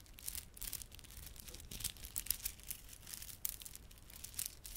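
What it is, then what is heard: Plastic beaded garland. A small clump of plastic garland with solid glossy dark blue and silver plastic beads and red spiky plastic fringe is held in both palms while fingertips rub and squeeze it. This makes quiet, continuous, bright clicking and crinkling sounds, with sharp little clicks over a low rustle.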